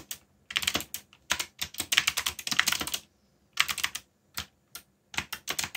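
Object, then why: Plastic mechanical keyboard. Fingertips tap the keys of a backlit black plastic mechanical keyboard while typing. Quick bursts of bright, dry clicks come in uneven runs separated by short pauses, each click dying away almost instantly.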